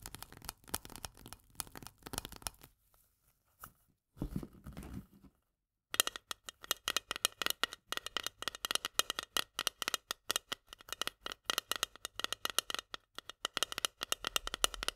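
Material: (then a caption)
Steel. Long nails tap quickly on the lid of a small, full steel can of corn, making dense, bright, dry clicks that die away almost instantly. After a short pause with some soft, low handling noise, the can is tilted and its top rim is tapped in a steady, rapid stream of sharp, high-pitched ticks.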